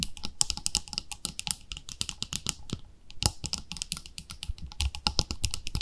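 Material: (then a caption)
Plastic. Long nails tap rapidly on the lid and sides of a round, palm-sized white plastic cream jar with a pink label. The result is a dense stream of sharp, bright, clicky taps that sound much like fast keyboard typing, with a brief lull just before the three-second mark. Each tap dies away almost instantly, with no ring.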